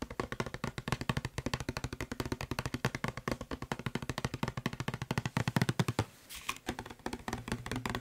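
Fingertips and nails tap and knock quickly on the body of a hollow blue plastic Febreze spray bottle. The result is a dense, rapid run of short, dry, hollow knocks with a low body tone and little ring. The run pauses briefly around the six-second mark, then the tapping resumes.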